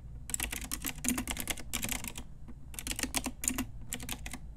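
Long nails and fingertips type on a full-size pink Ajazz mechanical keyboard with round plastic typewriter-style keycaps and a hollow plastic case. Quick, bright plastic clacks come in rapid bursts, with a short pause near the middle and a brief one before the end. Each key tap is short and dry, with a faint low hollow tone under the clicks.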